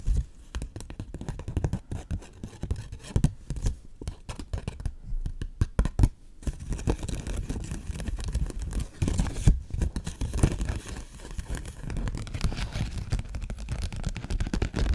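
A flat 20-dollar paper bill held between both hands is rubbed, stretched and scratched with long fingernails. The result is a dense run of crisp crinkling, snapping and scratching sounds, with a low, thumpy body under the faint bright paper rustle.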